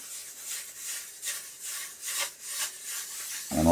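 A diamond plate is rubbed back and forth over a natural Pyrenees sharpening stone to flatten it, giving a rough, gritty rasp with bright hiss that swells with each stroke. The plate audibly catches on the stone's high spots, showing the surface is not yet flat. The clip ends with a single louder, fuller knock.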